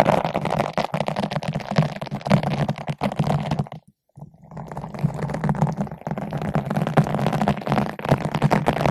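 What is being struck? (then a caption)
Foam microphone windscreen rubbed with a nylon bottle brush. A long bottle brush with green and white nylon bristles, held in both hands with long nails, is rubbed back and forth across the top of a large yellow-pink foam ball windscreen fitted over a microphone. The result is a dense, muffled, scratchy rustling with a heavy low rumble. It stops for a brief silence near the middle, then resumes just as steadily.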